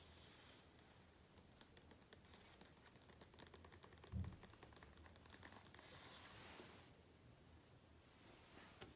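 Fingertips and a palm rub and tap the glossy paper pages of a large open hardcover book lying at one spread, without turning a page. The sound is quiet, a steady papery rustle with light clicky taps, a duller low thump just after four seconds and a brighter, hissy swish of rubbing around six seconds.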